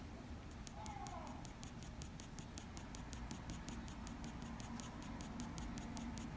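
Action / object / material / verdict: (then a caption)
scrape / graphite pencil on drawing paper / paper / none. A black wooden graphite pencil makes short, quick strokes on a sheet of drawing paper, sketching forehead fur. The result is a steady run of soft, bright scratches, about two or three per second, over a low, quiet rumble.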